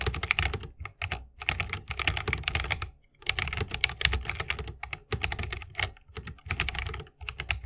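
Continuous fingertip typing with both hands on a 60% mechanical keyboard with Holy Panda switches, a bamboo case and plastic keycaps. Rapid runs of crisp, bright key clacks over a deep, low thock, broken by brief pauses. Each keystroke is short and dry with almost no ring.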